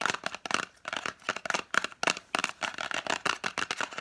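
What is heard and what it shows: Long nails quickly scratch and tap the faces and edges of a small, hollow, green-and-white printed cardboard lozenge box. Rapid, dry, papery clicks and scrapes come in short bursts, bright and crisp with a hollow tone centered around 1.5 kHz. There is almost no low end, and each tap dies away instantly.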